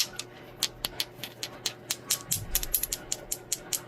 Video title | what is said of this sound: Botswana AGATES | the glassy sound that's how you know the hardness